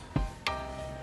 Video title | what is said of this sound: PEMBELAJARAN MATERI BUNYI - MENGGUNAKAN STRATEGI MAKE A MATCH DAN PERCOBAAN SUMBER BUNYI DARI MISTAR | getarannya sedikit menghilang dan suaranya Suaranya menghilang juga